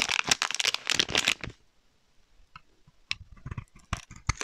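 A utility knife blade scrapes and cuts shavings off a solid rectangular dark grey-black soap bar embossed "Plant Based Perfume Soap," held in one hand. A dense burst of bright, crisp scraping fills the first second and a half, then after a near-silent pause come sharp, separate cutting clicks and scrapes.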